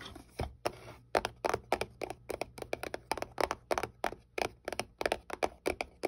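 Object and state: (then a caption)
Cardboard box tapped with fingernails. Fingertips and long nails tap and scratch across the face of a small, hollow white paperboard box held flat in the hand. The result is a quick, uneven run of dry, crisp clicks and short scratches, each dying away almost at once, with a hollow midrange body and a bright edge.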